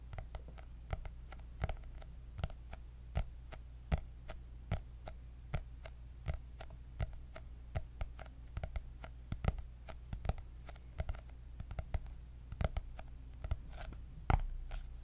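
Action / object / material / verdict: tap / hardcover notebook with cardboard cover / cardboard / none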